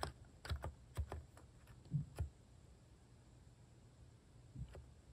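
Fingertips press and tap the plastic cat-face keycaps of a plastic mechanical keyboard resting on a wooden desk. Seven soft, irregular key thocks are heard, mostly low and dull with short bright click edges, in a cluster over the first two seconds and one more near the end.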